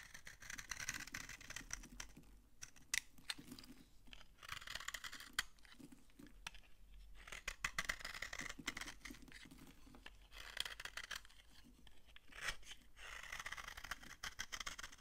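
A utility knife scrapes flakes off an old, dry, solid yellow soap bar held in the hand. Repeated bursts of bright, crunchy, rasping scrapes come in several passes separated by short pauses. Each stroke ends dry and clipped with no ringing.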